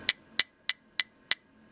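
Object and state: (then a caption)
Real hard osage orange wood grip. Five sharp, evenly spaced taps on full-size 1911 pistol grips made of Osage orange wood. Each tap gives a bright, high-pitched click that dies out almost instantly. The clicks sound almost like plastic, though the grips are very hard wood.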